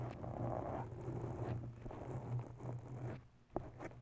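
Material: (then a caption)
Foam. Long bare nails scratch the top and sides of a grey foam cover on a USB microphone, making a soft, muffled, continuous rustling scrape with a steady low rumble underneath. The scratching fades briefly near the end, then returns with one sharper scrape before trailing off.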